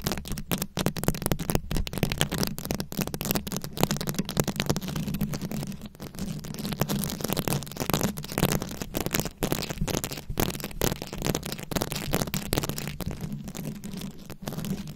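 Very long acrylic nails scratch a round, fist-sized microphone head covered in plastic rhinestones and beads. The result is a steady, dense run of rapid crackling clicks and rasps over a low, humming rumble. It keeps an even level throughout, with only brief dips.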